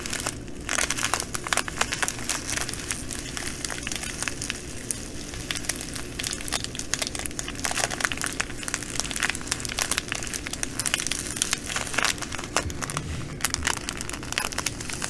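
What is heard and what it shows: Long nails scratch and fingertips press and crinkle a full, clear plastic bag of green glass bugle beads. The result is a dense, steady stream of bright crinkling and crackling clicks, with the beads shifting and ticking inside, over a faint low hum that runs throughout.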